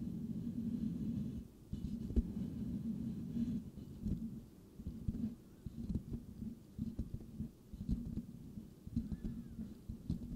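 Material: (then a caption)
Metal mesh. Fingertips of both hands lightly scratch the rounded, hollow metal mesh grille of a white microphone. The result is a dense, muffled, low scratching and rubbing, with scattered soft ticks and brief pauses between strokes.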